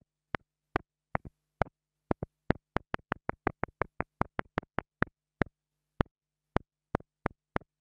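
A small black plastic mini lavalier microphone capsule, held between long-nailed fingers, is tapped repeatedly with the tip of a thin wooden stick. It gives sharp, dry clicks that die away almost instantly, some with a faint quick double bounce. A low hum sits underneath, and the taps come at an uneven, speeding-up pace before slowing again near the end.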